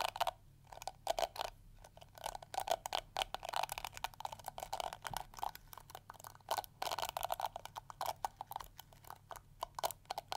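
Long nails scratch and flick across the yellow plastic bristles of a small, round, pink plastic detangling hair brush held in one hand. The result is a quick, uneven stream of dry, crackly ticks and scrapes that die away almost instantly, with a mid-range clicky tone around 700 Hz and bright edges.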